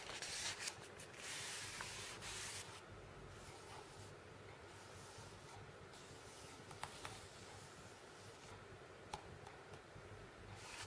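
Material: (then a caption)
Paper. Fingertips with red-painted nails trace and rub over printed images of drones and MP3 players on an open non-glossy paper magazine lying on a wooden table, with one page turn. A soft, bright, papery scratching and rubbing hiss runs throughout, louder in the first couple of seconds, with a few faint sharp ticks along the way.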